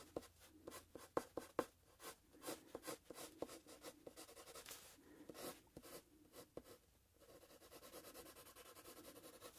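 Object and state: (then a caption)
Pencil scratching on paper over a plastic clipboard. A wooden graphite pencil is drawn across a paper sheet on a handheld plastic clipboard in scratchy strokes. Quick, irregular scrapes with a few sharp ticks fill the first seven seconds, then a softer, steadier continuous scratching takes over. The sound is quiet, dry and midrange-centered, with brief bright edges.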